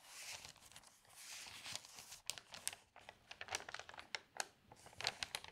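An open newsprint newspaper lies on a table while both hands flatten the spread, then lift and turn a page, crinkling the thin paper. Soft, hissy rustling swells give way to a run of sharp, crisp crackles and snaps, bright and airy with almost no low end.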